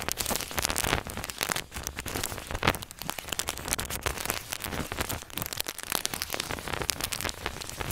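A crinkled square of aluminum foil on a table is scratched and rubbed with the head of a mini microphone while a fingertip holds the foil in place. A dense, continuous crackling of sharp, bright crinkles and scratches fills the clip, rain-like in texture, with short louder bursts and no pauses.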